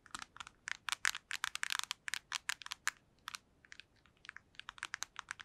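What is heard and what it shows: A black PSP handheld game console made of hollow plastic is held near the mic and tapped rapidly with long nails. The result is a quick, irregular series of short, dry, bright clicks centered around 1.6 kHz, with no low end and almost no ring after each tap.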